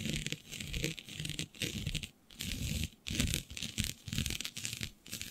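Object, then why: Synthetic stretch fabric sheet. Long nails quickly scratch a flat sheet of black synthetic stretch fabric with a shiny dotted pattern. The result is bursts of bright, dry rasping over a soft low rumble, separated by brief pauses.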